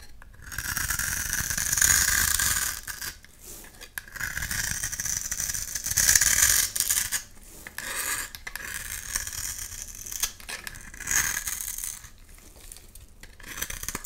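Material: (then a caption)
Soap. A metal blade scrapes the textured surface of a solid blue oval bar of soap held in the hand, sending shavings onto the pile below. Bright, dry scraping and rasping comes in bursts of quick strokes, separated by short pauses.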